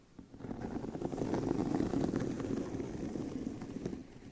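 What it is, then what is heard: Leather handbag. Fingernails of both hands scratch across a tan pebbled leather handbag with a hollow body. The result is a dense, continuous scratching with a warm, hollow low-mid tone. It swells in from near silence, holds steady, and thins out toward the end.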